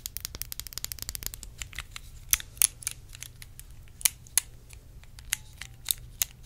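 Long acrylic nails tap and scratch a small, clear, faceted glass perfume bottle held near the mic. A quick flurry of bright, crisp clicks gives way to sparser, sharper taps with almost no ring, over a faint low hum.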